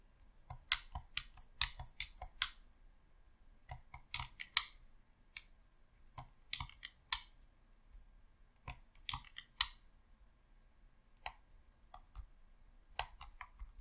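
A thumb presses the left thumbstick and D-pad of a hollow red plastic Xbox controller, producing about twenty sharp, bright plastic clicks in irregular clusters. Each click is short and dies away almost instantly, leaving quiet gaps between them.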